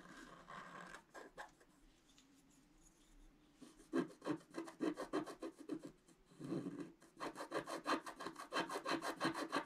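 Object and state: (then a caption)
Scratch art paper sheet. A pointed wooden stick scratches a flat scratch-art page, black coating over colored paper. After a sparse, quiet start, it breaks into rapid, raspy back-and-forth strokes with a dry papery mid-range grit and little low end. The scratching pauses briefly, then resumes in a dense, steady run.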